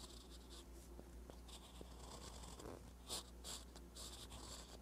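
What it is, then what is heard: Pen nib writing on notebook paper. A metal fountain pen nib with brown ink writes on thin lined paper in a flat notebook, scratching and gliding across the page. Soft, bright scratchy strokes come in short bursts over a steady low hum, with several louder scrapes near the end.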